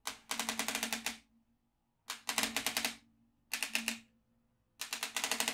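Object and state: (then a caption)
Magnetic drawing pad with steel beads. A yellow magnetic stylus taps and drags across the grid of holes on a notebook-sized black plastic magnetic drawing tablet with an orange slider, while one hand's fingertips steady it, pulling the small steel beads up. The result is four bursts of rapid, bright, dry clicks with a faint low tone under them and short quiet gaps between.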